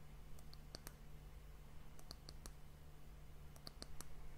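Long nails tap the top of the round, solid, glossy brown wooden end cap of a glass hourglass. Light, sharp clicks with bright tones come in three small clusters, each dying away almost instantly over a steady low hum.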